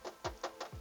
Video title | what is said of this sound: #1 Mobil Bekas - Cara Check Mobil Bekas - Part 1 | kalau misal bunyi terdengar nyaring seperti ini kedengaran enggak